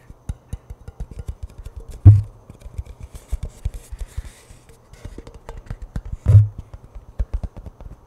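A tall, hollow cylindrical cardboard-composite Pringles chip can is held horizontally near the mic while fingertips and nails rub and scratch along its printed side. The result is a rapid run of soft, low, hollow taps and scrapes around 100 Hz, with two louder, boomier thumps standing out at about 2 and 6 seconds.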